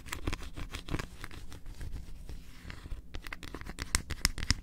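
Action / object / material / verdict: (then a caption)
tap / flat milk chocolate bar with almond pieces / chocolate / none. Long acrylic nails rapidly tap and scratch the surface of a large, flat, solid milk chocolate bar with almond bits, held on the edge of a table. A steady rasping scratch runs under dull, low-heavy taps, with a few sharper, brighter clicks near the end.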